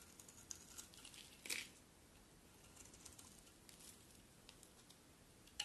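A utility knife blade scrapes and shaves curls off the surface of a solid cream-colored embossed bar of soap held in long-nailed hands. Quiet, bright, crackly scraping continues throughout, with a louder rasping burst early on and a sharp scrape at the very end.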